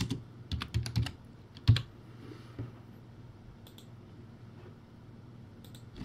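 Fingertips type on a crappy backlit, typewriter-style plastic keyboard with round white plastic keycaps and clicky keys. A quick, uneven burst of sharp clacks, each with a low hollow thump and a bright tick, peaks with one loud strike before thinning to a few faint clicks over a quiet hum.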